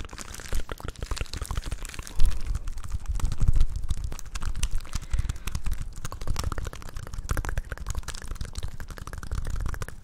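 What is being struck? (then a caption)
Plastic Rubik's cube. A small solid plastic Rubik's cube with coloured stickers is held close to the mic and tapped, scratched and twisted with long nails and fingertips. Dense, rapid clicks and crunchy scrapes run throughout over a heavy low thump, with brief louder bursts of twisting.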